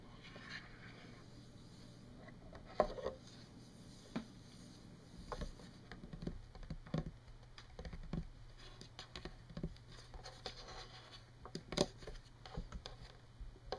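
Long painted nails tap and scratch across a solid, flat wood-veneer tabletop. Quiet, scattered taps with very short, dry decay mix with soft scratching over a steady low hum, with a few sharper, brighter taps standing out.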